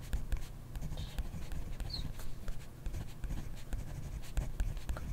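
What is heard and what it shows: A ballpoint pen writes continuously on a grid paper notebook page, its tip scratching across the paper. The steady, soft scratching is mostly low and muffled, broken by short taps and strokes and a couple of brief high chirps.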